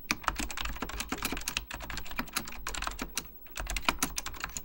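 Fingertips type continuously on a beige plastic full-size Apple Extended Keyboard II, pressing hollow plastic keycaps over mechanical switches. A rapid, uneven stream of bright, clacky key taps with a low thud underneath is heard, with a brief lull just past the three-second mark before the typing picks up again.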